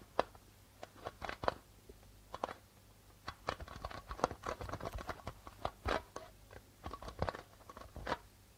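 Fingertips and nails tap rapidly on the white plastic membrane of a hollow darbuka drum. The result is a quiet, irregular patter of short, dry, clicky taps with scratchy, bright edges and almost no ring. A faint low hum sits underneath.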